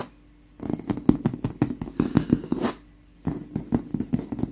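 Long pink acrylic nails in lace fingerless gloves scratch and tap across a soft, stuffed white leather pillow. Quick, dull taps and soft scratches fall in two busy bursts, separated by a short quiet gap. The sound stays low and muffled with little ring.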